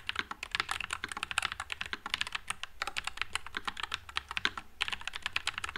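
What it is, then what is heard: Mechanical keyboard with plastic keycaps. Continuous fingertip typing on a white low-profile Nuphy Air96 mechanical keyboard with Wisteria switches and plastic keycaps. A rapid, steady stream of short, bright, clacky key clicks that stop instantly, over a faint low hum.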